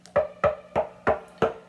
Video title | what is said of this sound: The In House Musician: Episode one "The old telecaster" | almost the whole back of the guitar becomes a resonant plate